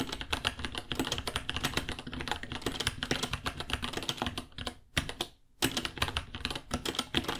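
Fingertips type rapidly on a white 66-key mechanical keyboard, about 30 cm, with Gateron Brown switches, plastic keycaps and a hollow case. It makes a dense run of bright, clacky keystrokes with a hollow thock underneath. The typing stops briefly near the five-second mark, then resumes.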